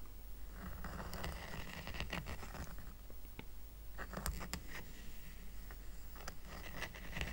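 Short nails scratch the weave of a small, round, flat woven rattan coaster, making dry, raspy bursts of scraping with bright ticking clicks over a steady low rumble. At the end, the coaster is tilted up.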